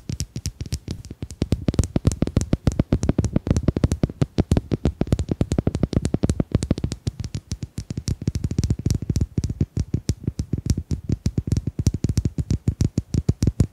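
Domino tiles are tapped in a fast, steady stream of about a hundred short, dry clicks over roughly fourteen seconds. Each tap is sharp and dies almost instantly, with a thuddy low body and a faint bright tick on top. The rhythm runs with slight swells and dips in loudness throughout.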